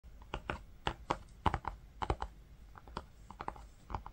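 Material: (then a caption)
Linen fabric. Fingertips with short nails tap and drum on a flat green linen-textured fabric book cover with a brown faux-leather panel, lying on pink faux fur. About eighteen soft, dull taps come in irregular bursts, each with a low thud and a short papery click, dying away almost at once.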